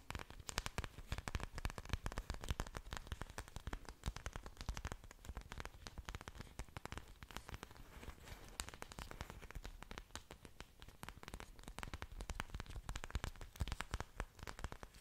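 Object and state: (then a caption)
Orchid leaves. Fingertips and long nails tap and scratch thick green orchid leaves held close to the mic. The result is a dense, continuous stream of quick, dry crackling taps and scrapes, with broadband clicks over a low, thumpy body, and it stays busy and fairly even throughout.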